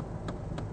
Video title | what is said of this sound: Kia Ceed Sportswagon review Auto Express | and if I can do the old wedding ring test I can see you can hear that's a nice dense plastic